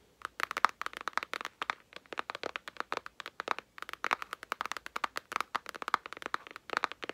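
Long nails rapidly tap the front and edges of a large, flat, white, hollow cardboard palette box (a Jaclyn Hill Palette sleeve) held up in both hands. Quick runs of short, dry, clicky taps with a hollow midrange tone and bright edges come in bursts with brief pauses, each tap dying almost instantly with no low-end thump.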